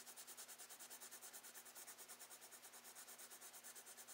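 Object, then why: Colored pencil on kraft paper sketchbook page. A wooden Prismacolor colored pencil, held in the fingertips, is rubbed and scratched across a brown kraft paper page of a spiral-bound sketchbook lying flat on a desk, with the pad backing the solid paper surface. Short shading strokes make a quiet, steady run of bright, papery scratches at about three per second, over a faint low hum.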